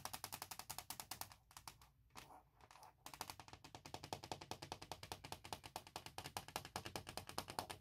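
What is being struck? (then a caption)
Hard plastic laptop shell. Long nails tap rapidly across a thin, hollow, forest-print hard plastic laptop shell fitted on the laptop. Dozens of quick, bright clicks with a hollow plastic tone come in a steady run, broken by a short, softer, scratchy stretch in the middle before the fast tapping resumes.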